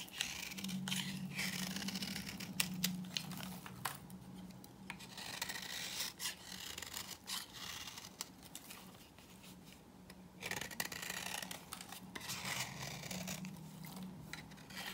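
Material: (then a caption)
Soap. A knife scrapes flakes off a hand-held solid, dry pink bar of soap, and the flakes pile up on the table. Bright, dry scraping and rasping strokes repeat unevenly throughout, with quick crackly bursts over a low steady hum.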